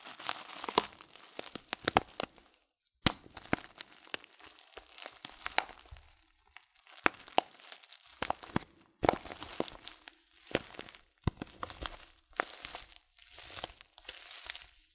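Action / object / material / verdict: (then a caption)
scrape / paper tea packet with loose leaves / paper / none. A filled Teekanne paper tea packet of loose-leaf tea is crinkled and squeezed by fingertips and turned over. Dense bursts of dry, bright crinkling and crackling come in uneven clusters, with sharp snaps standing out and brief near-silent pauses between handlings.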